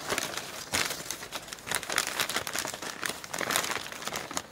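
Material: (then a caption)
Paper. A large, already crumpled sheet of thin printed newsprint advertising flyer is squeezed and crumpled by both hands, fingertips gripping and rubbing the paper above a pile of flyers on a wooden table. The result is a dense, continuous run of bright, crisp crinkling and crackling with sharper surges as the paper is scrunched, and almost no low end.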